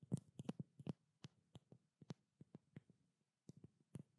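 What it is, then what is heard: Small glass oil bottle. A small blue-labeled glass treatment oil bottle, held close to the microphone, is tapped rapidly with long black nails. About sixteen short, dry taps come in an irregular rhythm; each is a soft, low knock with a faint bright click and almost no ring. The taps cluster early, then pause before a final few.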